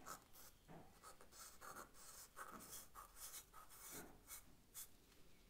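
A charcoal stick is stroked back and forth across the paper of a sketch pad, shading a leaf. Quiet, dry scratching strokes come in quick, uneven bursts, each with a bright papery hiss and a soft grainy low rasp.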